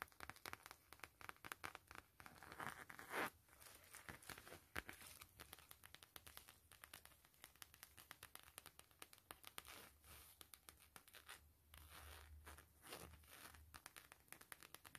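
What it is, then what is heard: Coated canvas wallet. Long nails and fingertips tap and scratch across a long gray-beige zip wallet of coated canvas printed with a world map, lying flat. The result is a dense run of quick, crisp taps and dry, crinkly scratches, with a few sharper clicks standing out.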